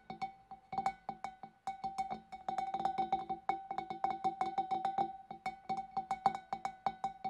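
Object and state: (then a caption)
Empty glass fish bowl. Fingernails tap inside the neck of a large, clear, empty glass fish bowl, with the hand partly behind the glass. A quick, uneven run of light clicky taps brings out a steady glassy tone near 780 Hz with faint bright overtones. Each tap dies away almost at once.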